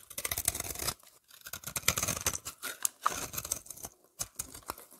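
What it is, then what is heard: Soap bar being shaved. A solid oval lavender soap bar with a scalloped edge is held in the hand and scraped with a utility knife blade, shaving off thin flakes. Bright, crisp scraping and rasping strokes come in irregular bursts, separated by brief quiet gaps.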